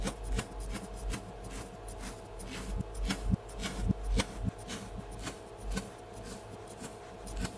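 A mound of blue kinetic sand, shaped into a solid round dome on a red cutting board, is sliced and scraped with a flat wooden spatula. Soft, low, crumbly rasps and rubs repeat at an uneven pace, with brief brighter crisp scrapes standing out over a steady faint hum.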